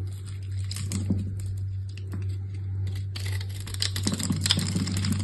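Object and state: Bar soap being scraped.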